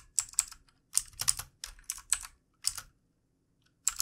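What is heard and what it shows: Fingertips of both hands type on a full-size, backlit plastic mechanical computer keyboard with plastic keycaps. Bursts of quick, bright clicky keystrokes come in short runs separated by brief pauses, each click dying away almost instantly. Almost no low end is heard.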